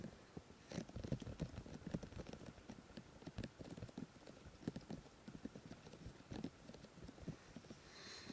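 Fingertips of both hands rub and touch both soft, solid molded silicone ears of a 3Dio binaural microphone on a black housing. A quick, uneven run of dull, low, muffled thumps and brushing scuffs mixes with faint high rustle, and a soft bright hiss swells at the very end.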